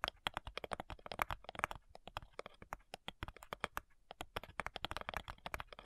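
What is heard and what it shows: Long nails tap rapidly on the front side of a flat, light wooden, hollow cigar box, producing a fast, uneven run of dozens of short, dry clicks. Each tap is sharp and bright with a hollow knock centred around 1.2 kHz, dying away almost instantly with no ring.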